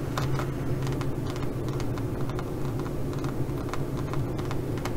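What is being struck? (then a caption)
Studded faux leather zippered pouch. Long nails scratch quickly across the studs of a green, pyramid-textured, zippered faux leather pouch. The result is a steady stream of fast, uneven clicky scrapes over a low, constant hum.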